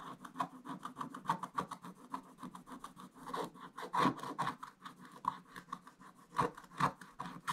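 A wooden stick scratches away the last of the black layer near the bottom of a coated scratch-art paper page in an open book. The result is a quick series of short, dry rasping strokes with a tone around 1 kHz, each fading almost at once.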